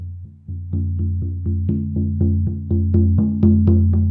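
A large, hollow Remo Buffalo frame drum with a black synthetic head, held upright, is struck repeatedly with a felt-tipped wooden mallet. It gives a steady series of deep, booming thuds with a warm low tone around 215 Hz that rings briefly between strokes. The hits grow gradually louder over the clip.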